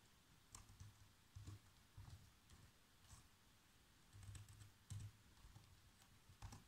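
Fingertips press the black plastic keys of a laptop keyboard in quiet, uneven typing, about eight soft taps with faint clicks. Each tap is a low, muffled thud with a light bright tick on top, and it dies away almost at once.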